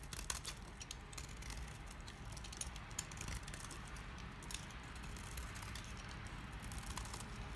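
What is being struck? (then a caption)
Bar of household soap cut with a knife blade. A solid, rectangular, dry green household soap bar is held in the hands and shaved and carved with a utility knife blade, so crisp curls break off. Quiet, dry scraping and short crackling snaps sound over a steady low hum.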